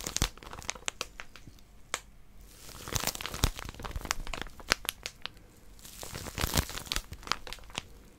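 A small flat white plastic-wrapped paper packet with a pink outline and barcode is held in both hands while long nails grip and scratch its crinkly wrapper. The sound is a dense run of sharp, bright crinkles and crackles with brief pauses between louder bursts, and the snaps stop dead with no ring.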